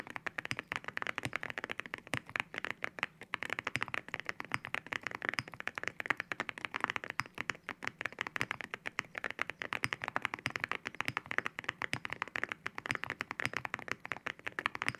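Fingertips type continuously on a white mechanical keyboard fitted with ceramic keycaps, producing a dense stream of short, sharp clicks that cut off almost instantly. The clicks are bright and glassy, centered near 1.9 kHz with very little low end, and keep up an uneven, steady typing rhythm throughout.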